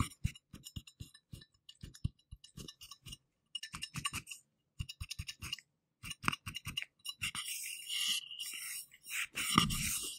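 A round, silver, hollow and shallow metal screw-top jar lid is held near the microphone in black-gloved fingers and tapped with the gloved fingertips. Quick, dry taps come in short runs, each a soft low thump with a bright metallic tick that dies away almost at once. Near the end the fingertips scratch across the lid in a steady, bright rasp, broken by one firmer knock.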